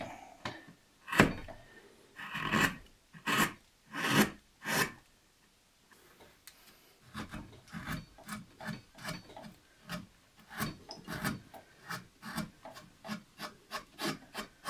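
A steel carving knife slices and scrapes the surface of a solid, light basswood carving blank, shaped as a figure, and small chips come off. A few long, loud, rasping strokes with bright edges come first, followed after a brief pause by a quicker run of shorter, softer scraping cuts with a low woody body around 200 Hz.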